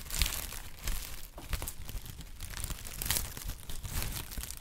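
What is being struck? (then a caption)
Honeycomb kraft packing paper. A hollow, flexible sheet of brown honeycomb-cut kraft packing paper is held in both hands and crinkled and squeezed with the fingertips. It gives a steady run of dry crinkling and crackling, with brighter crisp bursts over a soft low rumble.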